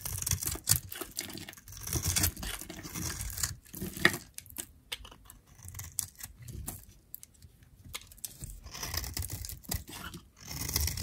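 A metal utility knife blade scores and shaves thin strips off an orange striped bar of dried soap held in the hand. The result is a quiet run of dry, crisp scraping and crackling cuts with bright, gritty edges, broken by short pauses between strokes.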